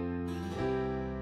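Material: Nothing is struck.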